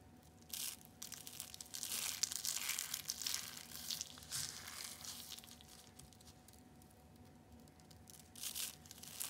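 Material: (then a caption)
Soap. A green ball of shredded, dried soap is crushed in the hand, its strands crumbling and falling. Dry, bright crackling and crunching comes in irregular bursts, loudest near the start and again at the end, over a faint steady hum.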